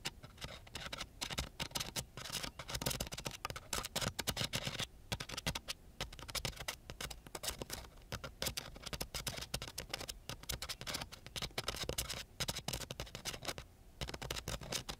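A ballpoint pen held upright drags its metal tip over a flat, coarse-grit sandpaper sheet in small strokes. The result is a dense, continuous run of bright, gritty scratching with many short rasping bursts, pausing briefly now and then.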